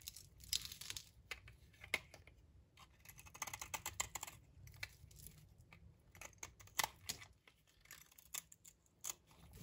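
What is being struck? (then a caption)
Bar of soap shaved with a blade. A solid rectangular magenta bar of dry soap, held in the hand, is shaved with a utility knife blade into crumbly flakes. Quiet, dry, bright scraping and crunching come in short, uneven bursts with a faint low hum underneath.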